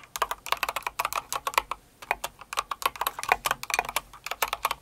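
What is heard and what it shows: Long acrylic nails and fingertips of both hands type quickly on a full-size light blue and pink Cinnamoroll mechanical keyboard with plastic keycaps. The result is a steady stream of crisp, clacky keystrokes with a bright plastic click centered around 1 kHz, and a brief lull just before the two-second mark.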